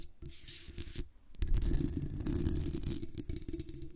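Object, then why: Metal mesh microphone grille. Long fingernails on both hands scratch and tap the sides of a black condenser microphone's hollow metal mesh grille. The result is dense, close, scratchy rustling with quick taps, heavy in low rumble and with faint bright hiss, growing fuller and busier after a brief lull.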